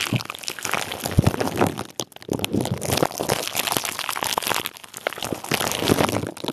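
Clear plastic bubble wrap wrapped around a microphone is squeezed and crinkled with the fingertips of both hands. The result is a dense, continuous crinkling and crackling with sharp, dry snaps spread across low to bright high tones, and a brief near-silent pause around two seconds in.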